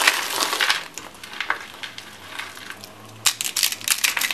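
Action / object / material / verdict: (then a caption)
scrape / soap curls / soap / none. Small dry peach soap curls are picked from a pile of flakes and crushed between the fingers. The result is a string of crisp, bright crunches and crackles, with a quieter rustling stretch in the middle before a loud burst of crunching near the end.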